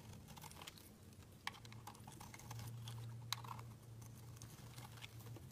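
A utility knife blade scrapes and carves shavings from a round pink-and-white solid soap bar held in the hand. The sound is a quiet run of dry, crisp scratching ticks with bright edges, with two sharper clicks standing out. A steady low hum runs underneath.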